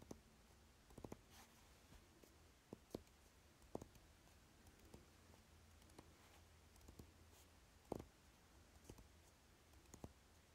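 Fingernails tap and scratch along the narrow side edge of a dark velvet-covered eyeshadow palette case marked DECAY, held in the hand. Quiet, dry clicks and soft scratching sound at scattered intervals over a faint low hum, each hit dying away almost instantly.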